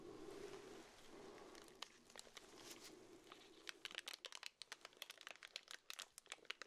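A pink urinal deodorizer cake in clear plastic wrap is held in both black-gloved hands while the fingertips pinch, pull and crinkle the wrapper. Soft, steady rustling in the first half gives way to a rapid series of sharp, bright plastic crackles and snaps.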